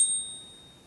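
An American Silver Eagle coin is struck with another silver coin used as a ring tester, giving a bright, high-pitched metallic ring that sustains and slowly fades. The long, clear ring marks it as real silver.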